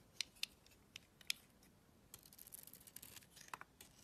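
A gold utility blade scrapes and carves flakes off the face of a solid pink embossed bar of soap with a white interior, held in the hand. Quiet, crisp, high-pitched clicks and scratches come at uneven intervals, with a denser run of rasping scrapes in the middle before a few final sharp cuts.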